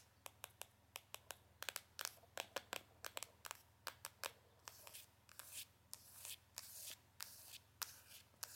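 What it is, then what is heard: Hollow cardboard box. Long nails tap and scratch the faces and edges of a small, hollow, printed cardboard Benefit box. Sharp, bright clicks come in a quick series, with soft rustling scratches between them that grow longer toward the end. Each tap dies away almost at once.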